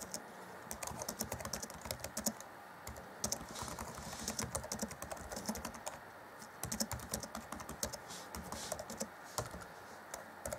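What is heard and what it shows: Black plastic chiclet keys on an Acer Chromebook C20 (2014) laptop keyboard are tapped by the fingertips of both hands while typing. The result is a steady stream of quick, light, bright clicks with short, dry decays, broken by brief pauses near 3 and 6 seconds.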